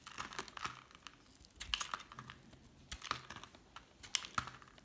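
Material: Soap.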